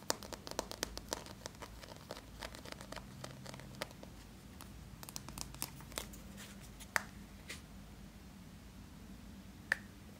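A small yellow plastic Play-Doh tub with a red plastic lid, closed and probably full, is turned in the hands while fingertips and nails tap and scratch its side and lid. Quick, dry clicks and taps come in dense clusters over a soft, steady background hiss. Two sharper, louder taps stand out near the end.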